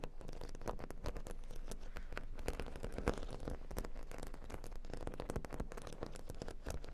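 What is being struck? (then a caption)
Plastic faux-pearl beads on a cork board. Long nails tap and scratch rapidly across a square cork board covered in a grid of plastic faux-pearl beads. The result is a dense, continuous run of quick, dry clicks and scratchy patter with a low, bassy body and little brightness.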